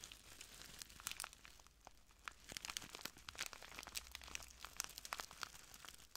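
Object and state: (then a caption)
Plastic bag of granules being crinkled. A small clear plastic bag full of translucent granules is crinkled and squeezed by the fingertips of both hands. Quiet, dense, bright crinkling fills the clip, with many sharp crackling snaps over a faint low steady hum.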